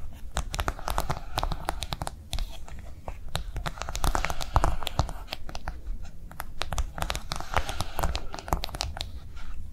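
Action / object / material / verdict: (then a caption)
tap / silicone phone case tapped with fingernails / silicone / none. Long nails tap fast on a pink piggy-themed silicone phone case with a soft, wavy raised surface, lying on a table. The taps come as a steady, rapid stream of short, crisp clicks with a low thudding undertone and some light scratchy texture between them.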